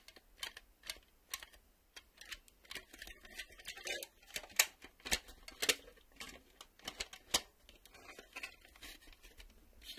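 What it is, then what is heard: Plastic VHS cassette. A black plastic VHS cassette is held still while thumbnails tap and click on its clear reel windows and ribbed plastic. About twenty quiet, bright, dry clicks come at an irregular pace, each dying away almost instantly with no low end.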